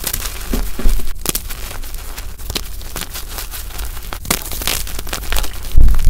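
Hands squeeze chunks of lavender gym chalk (magnesium carbonate) powder and press their fingers into a solid block of it. The result is a steady run of dry, gritty crunching and crumbling with crackly bursts over a low rumble, ending in a louder, heavier crush.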